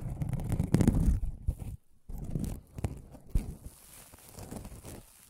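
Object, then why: Aluminum mesh scrubbing pad. An aluminum scrubbing sponge, a mesh pad held in both hands close to the microphone, is rubbed and scratched with the fingertips. The result is dense, crinkly scratching with a heavy low, rumbling body. It is loudest early on, drops out briefly near the two-second mark, then continues in softer, uneven bursts.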